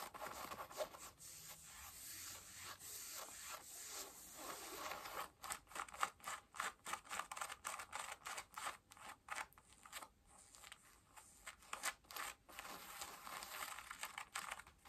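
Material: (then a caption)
Denim. Long nails scratch worn blue cotton denim jeans on the thigh, front pocket and waist area. A quiet, bright, continuous rubbing scratch in the first few seconds gives way to a rapid run of short, separate scratching strokes, with almost no low end.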